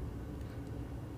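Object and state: Nothing is struck.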